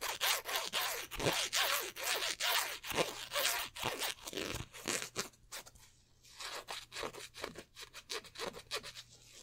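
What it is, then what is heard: Polyester jersey with stitched numbers, scratched. Fingertips and nails scratch and rub the twill "23" appliqué numbers on a black polyester basketball jersey. Quick, bright scratchy strokes repeat at an irregular rhythm of roughly two per second, with a faint low hum underneath. The strokes turn softer and quieter toward the end.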